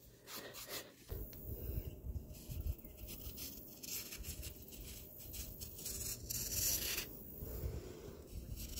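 A metal palette knife with a black handle scrapes and carves the side of a large, solid, round tier of compacted, layered sand, and clumps of sand fall away. The sound is a steady, gritty rasp with a low rumbling body and bright, hissy bursts that rise and fall as the blade drags through.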